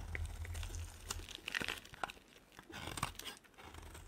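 A solid white bar of soap held in the hand is shaved with a utility knife blade down to a small piece. Short, dry scraping and crunchy crinkling strokes come one after another, with bright clicks over a steady low rumble.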